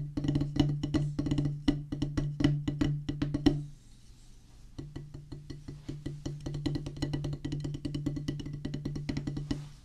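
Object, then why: Rubber practice pad on a wooden base, struck with sticks. A solid oval drum practice pad with a black rubber top on a pressboard/wood base is drummed with two wooden drumsticks. Rapid, dry, short taps with a low resonant tone fall in uneven bursts. The playing pauses briefly just before four seconds, then resumes more softly.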